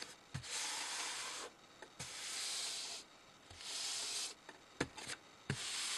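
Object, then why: Thin sheet of paper. Flat palms and fingers rub and slide across a large, thin sheet of white paper lying flat on a dark table. Long, bright, hissing swishes alternate with quiet pauses. Short soft taps and crinkles sit between the strokes.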